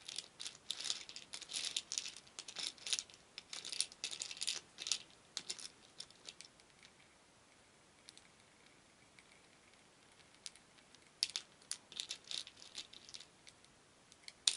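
A shallow wooden bowl full of many small painted wooden beads is scooped and stirred with a wooden spoon, making the beads rattle against each other and the bowl. Dense bursts of bright, dry clicking and pattering come in clusters with a quieter stretch in the middle, then pick up again toward the end.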